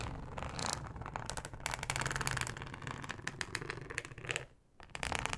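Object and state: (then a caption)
Flexible plastic cutting mat. Long acrylic nails of both hands slowly scratch a thin yellow flexible plastic cutting mat with a fine ribbed texture, lying flat on a dark mesh surface. The result is a dense run of short, crisp scratching clicks with bright, high edges over a low rumble, pausing briefly near the end before resuming.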